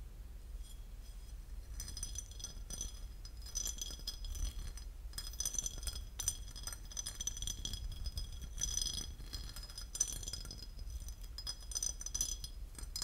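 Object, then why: Porcelain lid. A porcelain lid is tapped and scratched, giving a run of quick, bright ceramic clinks and dry scraping textures that die away almost instantly. After a quieter first couple of seconds, the clinks come in dense clusters over a steady low background hum.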